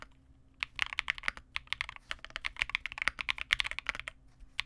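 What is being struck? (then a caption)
Mechanical keyboard with plastic keycaps. Continuous two-handed fingertip typing on a Vega65, a small 65% custom mechanical keyboard with re-lubed Cobalt switches, white plastic keycaps and a dark case. After a brief quiet start, a steady run of bright, short plastic clacks centered around 2 kHz dies off almost instantly. There is a short pause near the end before a final few keystrokes, over a faint low background hum.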